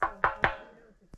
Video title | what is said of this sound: Dirty Water & Low Pressure due to a Faulty Pressure Tank! Replacing a Well Tank. | that's got a thud so it's full of water